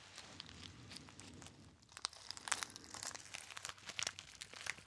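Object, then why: Small metallic foil packet. A small, rectangular, gold metallic foil packet, sealed and not empty, is held in the fingers and crinkled and squeezed with the fingertips. Soft, steady, bright crinkling gives way after about two seconds to louder, sharper crackles and crunches that continue to the end.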